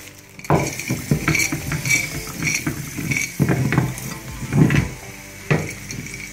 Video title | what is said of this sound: Liquid co2 thruster Rocket Powered Skateboard | it'll sound like it's sloshing around